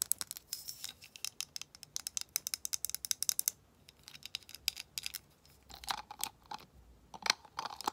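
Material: Glass.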